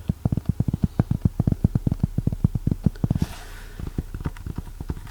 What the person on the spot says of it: like the cardboard it has a very Bassy sound